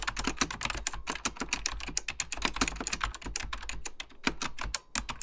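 Fingertips type continuously on a beige plastic full-size Apple Extended Keyboard II, pressing its hollow plastic keycaps over mechanical switches. Rapid, irregular clacks follow one another with a bright, crisp top and a hollow low thump beneath, each dying out almost instantly. A brief lull comes near the end before the typing resumes.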